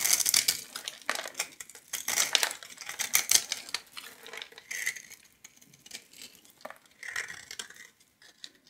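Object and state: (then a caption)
Soap bar scraped with a knife. A metal knife blade scrapes and shaves small cubes off a palm-sized solid purple bar of soap, pre-scored into a grid and held in one hand. Dry, bright scraping and crisp crumbling crackles come in dense bursts, loudest in the first few seconds, then thin out into quieter, scattered scrapes with almost no low end.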